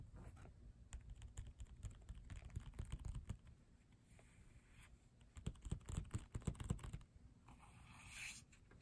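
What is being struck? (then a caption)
Glossy paper photobook page. Several fingertips with short nails tap rapidly and irregularly on a glossy paper photobook page, making soft, dull, low patters with a little papery click. The tapping eases off briefly in the middle and then returns in stronger bursts. A faint, brighter rustle near the end closes the clip.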